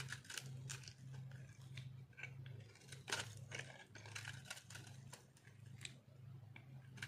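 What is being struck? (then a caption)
Soap ball cut with a metal blade. A metal blade carves and scrapes a hand-held, solid, round ball of dried pink soap with its cut face showing. Repeated dry, crunchy scraping bursts with bright, crisp edges sound over a steady low hum.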